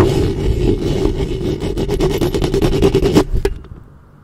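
Long fingernails of both hands cup and scratch the metal mesh head of a black studio microphone. The result is a dense, low, rumbling scrape with rapid, irregular raspy strokes and a steady hollow tone near 300 Hz. The strokes stop after about three and a half seconds, leaving a faint hiss.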